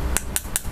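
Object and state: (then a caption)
Metal phone casing. Three sharp knocks on the restored metal (iron) casing of a Nokia E61i phone, which has been cleaned of corrosion front and back. Each knock gives a brief, bright metallic click that dies away almost instantly, over a low background hum.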